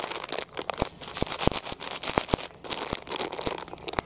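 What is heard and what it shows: A medium-sized, soft, empty blue printed plastic Rin detergent pouch is squeezed and crinkled with the fingertips, then held up flat. Dense, bright crinkling fills the clip, broken by many sharp crackling snaps and a few brief quieter pauses.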